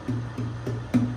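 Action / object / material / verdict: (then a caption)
tap / wooden acoustic guitar top / wood / none. The top of a newly finished wooden acoustic guitar is tapped four times, each tap giving a short, low resonant thump with a steady ringing tone. The tap tone is high, not G but probably A or even B flat, because the guitar has a thicker top and a heavier build with quite a thick back, while its sides are a normal 2 to 2.1 millimeters thick.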